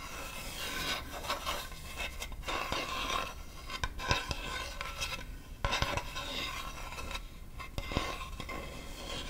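A large solid acacia wood chopping board is held upright while long nails scratch and rub across its face and edge. The result is a continuous raspy, filing-like scrape with bright grainy texture and a low undertone. Sharper clicks punctuate it where the nails catch the wood.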